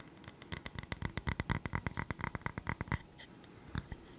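A round, flat, solid bamboo coaster is tapped and scratched with the fingertips and short nails, including along its edge. A quick, uneven run of dry, short taps gives a dull low thump with a bright click and a papery scratch around 2 kHz. The taps cluster densely for about three seconds, then thin out to a few scattered scrapes and taps.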